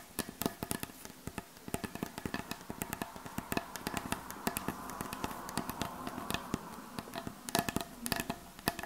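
A wooden surface is tapped and scratched, giving a rapid, uneven run of many sharp, short clicks and knocks with almost no ring. A soft mid-range hiss sits underneath the taps, swelling through the middle of the clip.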